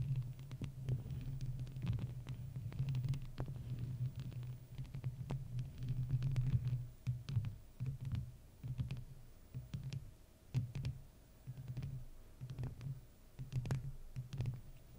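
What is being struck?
Metal mesh microphone grille.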